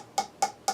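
Three taps on the Solostar 4 juicer body, made of BPA-free Eastman Tritan copolymer, each a short, dull knock centred near 800 Hz that dies away almost at once. The housing gives a low-pitched sound, attributed to Tritan being denser and slightly flexible.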